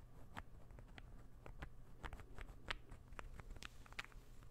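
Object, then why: Small interlocking wooden ball puzzle. A small, solid, assembled light-wood interlocking ball puzzle is held in the hand and tapped rapidly with fingertips and nails. The result is quiet, dry, short clicks and knocks that stop almost at once, scattered over a steady low hum.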